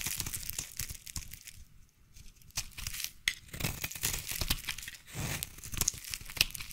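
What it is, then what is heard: Bar soap being scraped. A utility knife blade scrapes and carves shavings from the end of a solid light blue bar of soap. Dense, bright, crackly scraping and crumbling sounds come in quick uneven bursts, with a short pause partway through.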